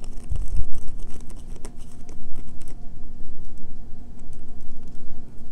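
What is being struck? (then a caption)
Solid bar of soap. Long fingernails scratch along the edges and face of a solid green bar of soap held in a hand, making quick, dry, bright scratches and taps. They sit over a steady low rumble with a faint constant hum.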